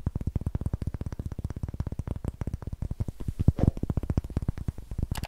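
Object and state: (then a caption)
Pine wood block. A solid, light pine wood block held close to the mic is tapped rapidly on its faces with long nails, giving a steady run of dull, low, short knocks with almost no ring. Midway and again at the end, the nails scratch the block's rough greenish end, adding brief, brighter scraping bursts.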